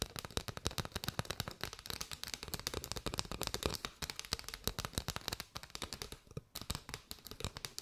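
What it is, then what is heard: Bundle of paper straws. Long white nails tap and scratch on a bundle of hollow paper straws, working over their sides and open ends. A rapid, steady run of dozens of short, dry, crackly taps with a bright papery edge and a soft hollow low thump beneath. Each tap dies away almost at once.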